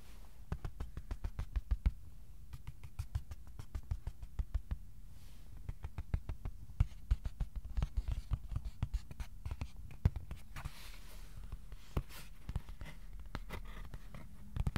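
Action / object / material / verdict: tap / thin cardboard sheet / cardboard / none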